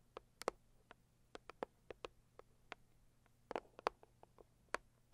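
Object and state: Cardboard gift box tapped with fingernails.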